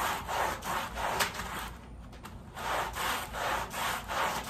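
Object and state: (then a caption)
Woven pile rug being scrubbed. A red-handled bristle brush scrubs a wet, soapy woven pile area rug lying on a plastic sheet. It makes repeated rasping back-and-forth strokes with a wet, hissy texture centered in the midrange, broken by a brief quieter pause in the middle.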